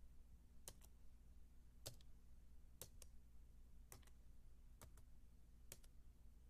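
A solid, white, low-profile Apple keyboard, about 28 cm wide, with plastic keys on a thin aluminium base, is typed on with the fingertips and long dark-painted nails. Short, bright plastic clicks come in spaced pairs and die away almost instantly. Underneath them runs a steady low hum.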